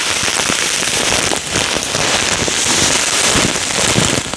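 A full clear plastic bag of small yellow polystyrene foam beads with a cardboard header is held and shaken by hand. The beads rustle and patter in a dense, steady, bright crackle that sounds rain-like and continues for the whole clip.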